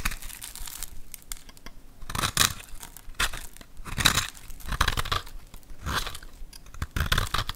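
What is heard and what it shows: A hand-held, hand-sized solid bar of white soap with a silvery coating, pre-scored, is scraped and carved with a metal utility knife blade, with white cubes and powder flaking off. Repeated bursts of dry, crisp scraping and crunching rise and fade with each stroke, bright and gritty with a soft low rumble beneath, separated by quieter crumbly pauses.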